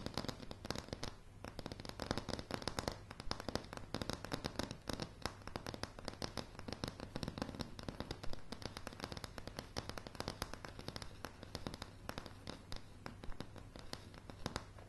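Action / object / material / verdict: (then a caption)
tap / wooden floorboards / wood / none. A light, solid wooden plank floor is tapped and scratched by long polished nails, producing a rapid, dense stream of short, dry clicks and crackles. The taps are quick and unevenly spaced, with a steady low hum beneath them throughout.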